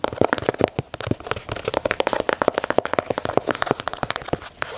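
Fingernails scratch and tap along the stitched leather panels and swoosh of an empty black and white Nike Dunk leather sneaker held in hand. A dense run of short, dry scratches and crisp taps comes in quick succession, each one dying away almost instantly. The sound centers around the mid range, with little deep rumble or high brightness.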